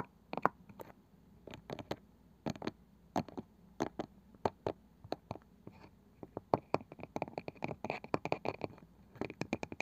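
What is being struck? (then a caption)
Small round wooden box with woven side. Fingers drum and nails scratch on the pale wooden lid of a small, palm-sized round wooden box with a woven side, which is likely hollow. Dozens of quiet, dry, short taps come in irregular bursts, with soft scratchy brushing between them, and the taps grow quicker and denser toward the end.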